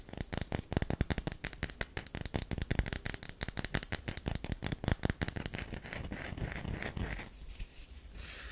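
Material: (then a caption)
Soap. Long fingernails scratch the surface of a solid, round, heavily scratched DURU bar of soap resting in an open palm. Quick, dry scratching strokes come in a dense, uneven run, each a short, close, crackly scrape with a soft low body and a bright edge. Near the end they fade into a quieter, steadier rasp.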